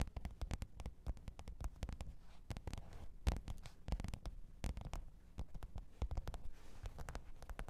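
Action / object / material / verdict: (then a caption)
tap / faux leather hard-shell zippered case / faux leather / none. Long pointed nails tap and scratch the top of a black, textured faux-leather hard-shell microphone case with a zipper, lying flat on fur. Rapid, irregular taps come through as dull, short, low thuds with little ring, mixed with faint scratchy brushing between them.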